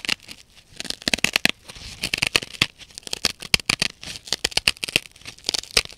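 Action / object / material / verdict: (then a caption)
scrape / nylon scouring pad sponge / nylon / none. Long nails repeatedly scratch the fibrous blue abrasive nylon scouring face of a hand-sized, dry, blue synthetic kitchen scouring pad sponge held in both hands. The result is a rapid series of short, dry, bright, crinkly rasps with almost no low end, separated by brief quiet gaps.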